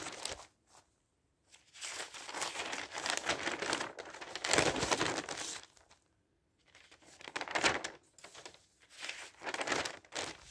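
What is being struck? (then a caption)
Newsprint newspaper. An open newspaper of thin newsprint has its pages grabbed by fingertips and turned, so they flutter and crinkle. Bursts of dry, bright rustling and crackling come in uneven waves, separated by short silent pauses.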